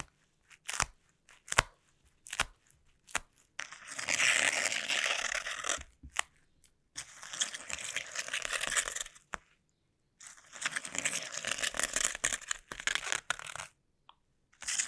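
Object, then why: Plastic bubble wrap sheet. Taped fingertips tap and drag across a sheet of clear plastic bubble wrap resting on a table. Sharp, isolated taps come first, followed by long bursts of bright, dense crackling and sticky scratching that stop and start with short silences between them.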